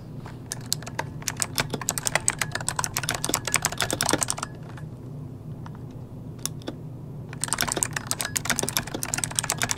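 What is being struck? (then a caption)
Plastic mechanical computer keyboard. Fingertips type rapid key presses on an RGB-lit plastic mechanical computer keyboard with hollow key switches, resting on a desk. Dense, bright, sharp clicks run for about four seconds, thin out to a few scattered taps, then resume in a fast burst. A steady low hum sits underneath throughout.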